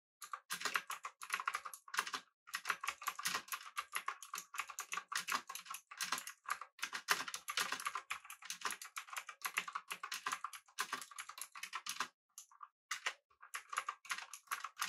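A mechanical keyboard with an aluminum body, round plastic keycaps and pink backlighting sits on a desk while both hands type on its clicky keys with their fingertips. Rapid, bright, sharp clicks come in dense bursts, separated by brief pauses, with no low-end thump.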